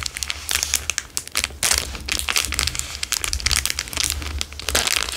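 A plastic Dairy Milk chocolate bar wrapper is squeezed and crinkled with fingers and thumbs. The result is dense, bright crackling and crinkling in rapid bursts, with a faint low hum underneath.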